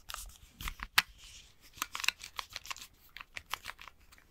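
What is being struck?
Plastic game controller grip.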